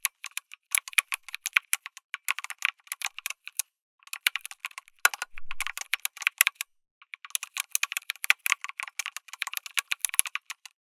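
Fingertips type continuously on a backlit mechanical keyboard with plastic keycaps, an FR4 plate and tactile switches. The result is rapid, bright, crisp keystroke clacks with very short decay, coming in fast bursts separated by brief pauses.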